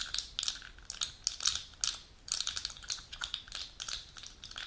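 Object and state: Plastic blister pack tapped with nails.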